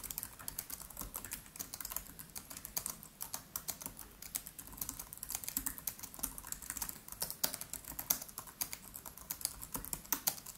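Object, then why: Laptop keyboard with plastic keys. Fingertips of both hands type rapidly on the black plastic keys of a MacBook Pro laptop with an aluminium body. The result is a fast, steady stream of short, bright, dry clicks with very little low end and almost no ring after each tap.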